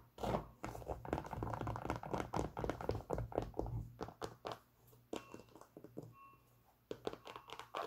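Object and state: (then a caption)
Leather sneaker tapped and scratched. A hollow, empty white Adidas Superstar sneaker with a leather upper and rubber sole is held in the hands and scratched and tapped on the upper and sole with long pink nails. Dense, irregular crinkly scratching and dull taps run throughout, with a low hum underneath. The sound thins out to sparse taps in the second half.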